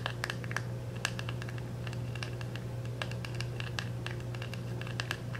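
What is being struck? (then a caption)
Small plastic compact in cellophane wrap. Fingernails scratch and tap the back of a small round plastic makeup compact wrapped in clear cellophane and held in both hands. Brisk crinkly scratching is broken by many sharp, bright ticks and taps, all over a steady low hum.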